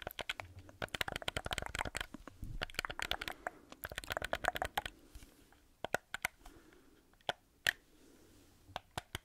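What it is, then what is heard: Plastic game controller. Fingertips and nails tap and scratch the housing of a black, hollow plastic gamepad held close to the mic. A dense flurry of quick, dry clicks and scratchy rustles comes first, then thins out into sparse, sharp single taps with a bright, hollow plastic tone and almost no ring.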